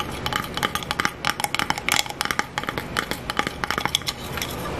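Fingertips and nails tap on a small black plastic blush compact with a clear plastic hinged lid, held in the hands, and open and close the lid. A rapid, uneven series of bright, dry plastic clicks and taps rings out with almost no decay over a soft, steady background hiss.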